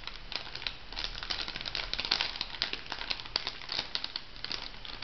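A small, flat, pink printed plastic foil sachet, filled, is crinkled and scratched with long nails. The result is a steady stream of bright, dry crinkling with many quick ticks and scratches, all high in pitch with little low end.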